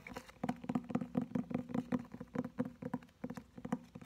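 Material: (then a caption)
Cardboard. A thick hardcover Oxford English-Greek Learner's Dictionary, with cardboard covers and paper pages, is held upright in both hands while its cover is tapped and scratched with short-to-medium fingernails and fingertips. The result is a quick, soft run of dull, hollow taps with a low-mid body, mixed with light scratching and almost no high ring.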